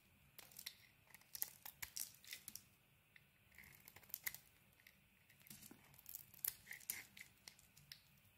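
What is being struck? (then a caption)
Soap bar scraped with a steel blade. A steel blade shaves and scrapes the green coating off a solid cream bar of soap held in the hand. The result is a quiet run of short, dry, bright scraping and crinkling strokes with irregular pauses, each stroke ending almost at once.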